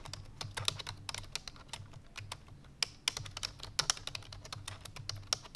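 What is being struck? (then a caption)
Plastic computer keyboard keys. Fingertips with long painted nails press the keys of a full-size black plastic computer keyboard resting on a white fur rug in fast typing. The result is a rapid, uneven stream of sharp, bright clicks and taps that stop almost instantly, with a few louder strikes standing out over a faint low rumble.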